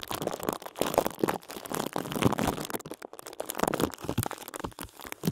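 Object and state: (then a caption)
Plastic bag crinkled over a microphone. Fingertips quickly tap, rub and crinkle a thin, clear plastic bag wrapped over a microphone. The result is a dense run of close, dry crinkles and short tapping bursts, mostly low-mid in tone with bright rustling edges. Each sound dies out almost instantly.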